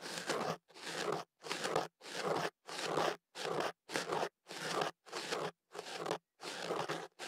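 A hollow white kenaf paper tube wrapped around a microphone is held steady while fingers work a thin pick at its opening, scratching the paper. About a dozen separate bursts of dry, crunchy scraping repeat at a steady pace, each with a bright papery hiss and brief gaps of silence between.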